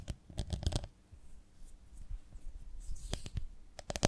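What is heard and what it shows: Long nails tap and scratch the ridged surface of a medium, ribbed, beehive-shaped glass jar with a lid, full of honey. A burst of sharp clicky taps comes first, then a quieter stretch of soft, low scratching and rubbing, and finally another scatter of bright taps at the end.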